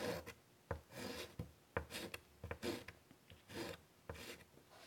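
White chalk scratches and rasps across a large, flat, wood-framed chalkboard while drawing a butterfly body. Short, bright gritty strokes alternate with sharp taps, separated by quiet pauses.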